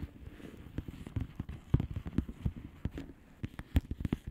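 Long manicured nails on both hands tap a flat plastic bubble wrap mailer with hollow air bubbles. A quick, irregular series of soft, dull taps and light crackly clicks is heard, mostly low and thuddy. Each tap dies away immediately with no ring.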